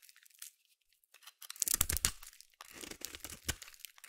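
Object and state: Soap bar being scraped.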